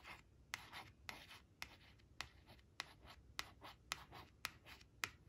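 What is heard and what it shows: Long acrylic nail tips trace and scratch the sunflowers on a thin, flat laminated cardstock flash card resting on a woven cloth. About ten sharp, bright clicking taps, roughly two per second, are heard between soft, hissy scratching strokes. The sound is quiet and dry, with no ring after each tap.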